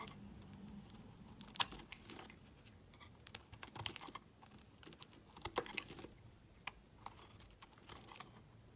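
A utility knife blade scrapes the surface of a solid pale blue bar of soap held in the hand. The result is a quiet, irregular run of dry, bright scraping clicks and crackles with short gaps between them, each dying away almost instantly.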